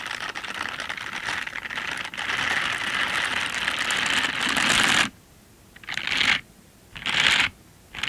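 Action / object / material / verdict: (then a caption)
scrape / silicone bristle scrubber gloves rubbed together / silicone / none. Pink silicone dish gloves with bristle pads, worn on both hands, are rubbed together with the palms and fingers in front of the recorder. The result is a dense, bright bristly scratching that runs steadily for about five seconds, then breaks into three short rubbing bursts separated by near silence. The sound has almost no low end.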